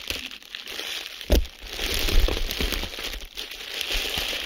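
A clear plastic bubble wrap sheet is crumpled and squeezed with the fingertips of both hands, giving a steady bright crinkling over a low rumble. Sharp popping air bubbles break through, with the loudest snap early on and more pops scattered through the middle.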